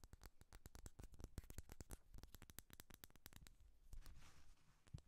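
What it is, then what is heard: Wax-filled glass candle jar. Long fingernails rapidly tap and scratch a small amber glass candle jar filled with wax, with a black lid and paper label, held in the hand. Quick, dry clicks come in a dense, uneven stream, with a soft scratchy rasp on the label around the four-second mark.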